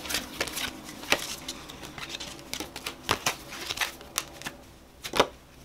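A purple-backed paper playing card deck with purple foil is split into packets in both hands while fingers spring, flick and snap the cards. Rapid, bright clicking riffles and sharp card snaps come in uneven bursts, crisp and dry with almost no low end.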